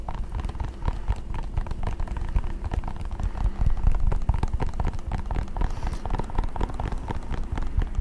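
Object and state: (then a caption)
Plastic power adapter. A small, solid white plastic power adapter (charger block) is held in both hands and tapped and scratched with fingertips and nails. The result is a dense, irregular stream of soft taps and dull clicks over a low, thumpy rumble, with scratchy textures in between.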